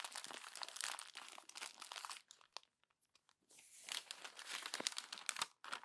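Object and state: Glossy magazine pages being crumpled.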